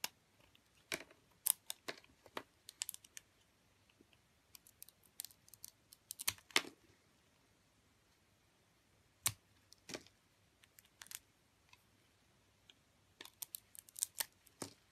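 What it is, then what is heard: Glitter-coated soap bar being scraped. A metal box-cutter blade carves and scrapes the dark glitter coating off a solid white bar of soap held in the hand and steadied by long nails. Short, dry, bright scraping crackles and clicks come in irregular clusters with quiet pauses between them, each stroke ending almost instantly.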